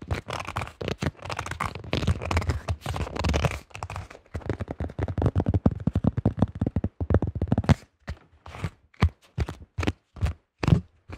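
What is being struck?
Plastic disc golf disc.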